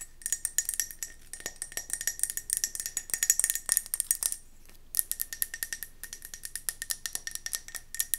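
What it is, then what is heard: Mercury glass candle jar. Long nails tap and scratch quickly on a round, gold mercury glass candle jar with a metallic rim, held in the hand. The result is a dense run of sharp, bright glassy clicks and scrapes with a thin ringing tone. The sounds break off briefly just before the five-second mark, then resume.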